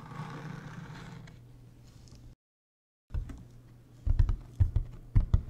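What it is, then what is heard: Hollow hard-shell plastic suitcase. A large, hollow, beige hard-shell plastic suitcase is tapped with fingertips on its shell and edge. After a faint low rustle and a brief silence, a run of soft, deep, hollow knocks grows into several louder, sharper taps that stop quickly.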